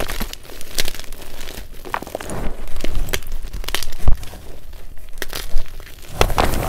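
White magnesium carbonate gym chalk, a pile of chunks and powder in a glass bowl, is squeezed and kneaded with bare fingers. It gives off a dense run of soft crunches, crumbles and crinkles with low thumps, plus a few sharper bright crackles. The sound dies out quickly after each squeeze.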